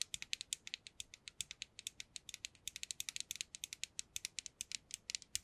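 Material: Plastic.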